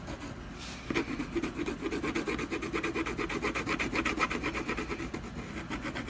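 A brown colored pencil vigorously hatches a tree trunk on a solid canvas panel. After a brief quiet start, it makes a steady run of quick, dry, scratchy rubbing strokes, roughly two per second, with a rasping grain and a brighter edge on each stroke.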